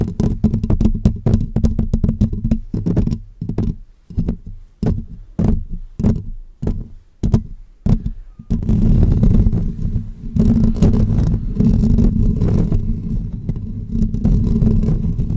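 Short natural nails and fingertips of both hands scratch the hollow metal mesh grille of a pink microphone. Quick, separate scratching bursts come first, then after about 8.5 seconds the scratching becomes continuous. The sound is dense, rustly and low-heavy.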